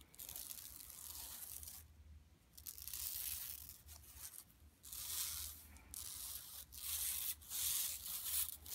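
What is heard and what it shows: Long nails scratch and rub across a flat, empty yellow woven plastic mesh tote bag lying on carpet. The result is a bright, high, crackling scratch that comes in sustained bursts separated by brief pauses, with little low end.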